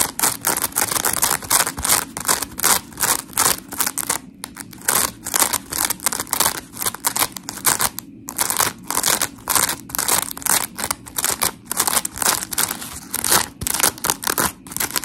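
Long acrylic nails scratch and squeeze the gritty surface of a hand-sized, smiley-face polymer foam scrub sponge with white and blue porous foam layers, solid and dry. Rapid, bright, rasping scratches come in quick repeated strokes with brief pauses, each dying away at once over a faint low hum.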